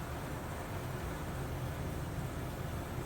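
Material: Nothing is struck.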